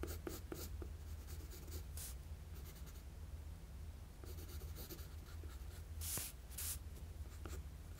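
A wooden graphite pencil makes sketching strokes across a flat sheet of drawing paper. Short, bright scratchy bursts of graphite come and go over a steady low hum, with a couple of louder strokes near the end.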